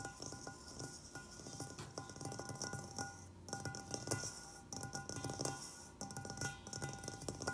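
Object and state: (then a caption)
Stainless steel mixing bowl. A large, hollow, apparently empty stainless steel mixing bowl stands on a wooden table while both hands hold its sides and fingertips and short nails tap rapidly on its outer wall. The quick, dense patter of taps rings with steady metallic tones around a low hum and a bright shimmer above. Each tap dies away fast, and a few brief pauses break up the continuous ringing pattern.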